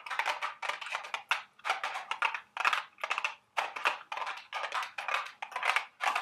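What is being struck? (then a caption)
Small cardboard candy box. A small, hollow, printed cardboard candy box shaped like a milk carton is held in the hands and tapped and scratched with long, sharp acrylic nails. Quick, dry tapping and scratching bursts come in rapid clusters, sounding crisp and papery with a bright midrange and almost no low end. Each sound dies away almost at once.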